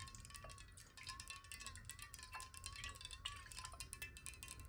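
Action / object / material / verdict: tap / glass water bottle / glass / none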